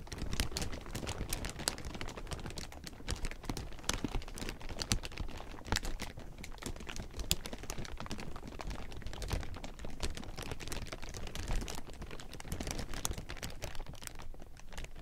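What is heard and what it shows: A large heap of thin, clear plastic sheeting is gripped and crumpled by hand for about 15 seconds. It makes a dense, continuous crinkle of sharp, bright crackles over a soft, low rustle, with no pauses.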